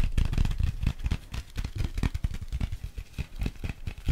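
A small folded paper Paris metro map booklet is held in one hand while fingertips and nails tap and scratch its printed cover. The result is a rapid series of soft, low, muffled taps mixed with light scratchy rustling.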